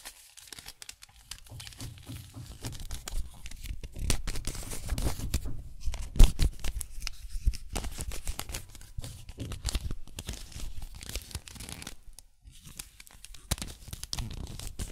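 A small plastic mirror puzzle cube with gold stickers is turned layer by layer by gloved fingers. Its layers make a steady stream of soft clicks and dry plastic-on-plastic rubbing, mostly low in pitch with brief crinkly bursts.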